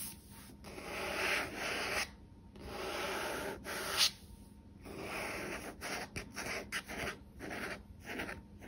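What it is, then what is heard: Paperback book cover being rubbed and scratched. Fingertips and nails rub, scratch and tap the matte card front cover of a medium paperback novel, "The Unbroken," a solid paper block lying on a wooden table. Long, dry, hissy swishes of rubbing come first, then shorter, quicker scratches and light taps follow. The sound is soft and mostly high-pitched.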